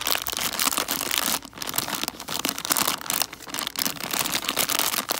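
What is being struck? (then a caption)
Plastic bag of foil-wrapped chocolate coins. A full plastic bag of foil-wrapped chocolate coins is held in both hands and crinkled and scratched with long dark nails. The result is a dense, bright crinkling with sharp crackles and scratches, with a couple of brief quieter pauses.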